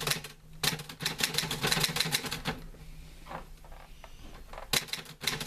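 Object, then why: Metal manual typewriter keys. A green-grey metal portable manual typewriter with paper loaded is typed on by fingertips. Quick bursts of sharp, bright key clacks with short decay fill the first half, followed by a quieter stretch with a soft mechanical sweep. A fresh flurry of keystrokes comes at the end.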